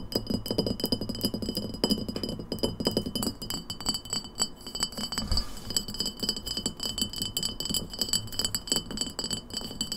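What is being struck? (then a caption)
Empty glass bottle. Long nails tap quickly on the neck and sides of an empty, hollow embossed glass lemonade bottle with a paper label, standing on a table. The result is a dense run of short, bright clinks over a low, hollow body, with steady high glassy tones ringing through the tapping.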